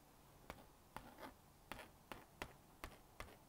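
A plastic magnetic stylus dots and scratches lines on the honeycomb screen of a small blue-and-pink plastic magnetic drawing board while drawing a rabbit. Seven sharp, dry plastic clicks, plus a softer scratchy stroke, ring out bright and crisp, each dying away almost instantly over a quiet, close background.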